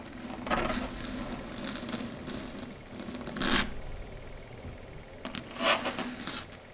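Long red stiletto nails rub and scratch across a flat, solid dark grey chalkboard surface. Soft, dry scraping is heard throughout, with a few louder, brighter scratching bursts rising over a low, steady rustle.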